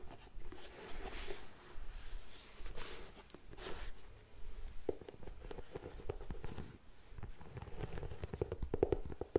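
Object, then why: Faux suede ankle boot with treaded rubber sole. Long nails scratch the upper and the treaded rubber sole of a grey faux suede ankle boot. The result is a dry, low-heavy rasping in uneven bursts, with a few sharp clicks near the end.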